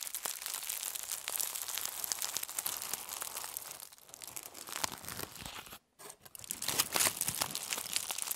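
A sheet of aluminum foil from a roll is crumpled and twisted by both hands, with long nails pressing into it. Dense, bright crinkling and sharp crackles run almost continuously, break off into near silence for a moment, then return a little louder.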